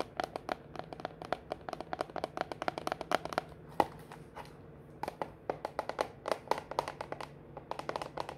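A small, rectangular, clear plastic food container with a lid, full of seashells and aluminum coffee capsules, is held up in both hands and tapped fast on its sides with long manicured fingernails. Dozens of quick, dry, clicky taps come in irregular bursts, each dying out almost instantly, with a mid-pitched tone and bright edges over a faint low hum.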